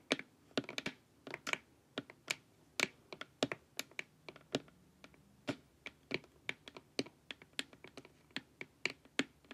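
Long nails tap the sides of a glossy, hollow plastic LED face mask in a quick, uneven rhythm of a few dozen light clicks. Each tap is short and dry with a bright, high edge and almost no ring, heard over a faint, quiet background.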